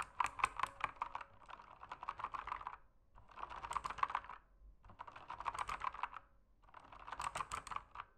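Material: Plastic.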